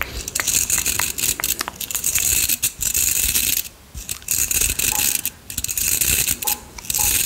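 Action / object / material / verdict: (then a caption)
scrape / round styling brush with metal barrel and bristles / metal, bristle / none. A round styling brush with a perforated metal barrel and bristles is held close to the microphone while fingers scratch and rub its bristles and barrel. The result is a dense, bright, crackling scratch made of many tiny ticks and rasps, almost all in the high range with little low end. It breaks off briefly into quieter gaps just before the 4-second mark and again around 5.5 seconds.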